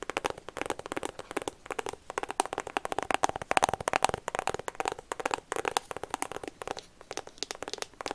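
Long painted fingernails rapidly tap and scratch a small, hollow white and pink iPhone cardboard box held close to the mic, which may still be plastic-wrapped. Quick, dry clicks and crinkly scratches with a hollow midrange tone around 770 Hz and bright edges, each tap dying away almost instantly, continue throughout.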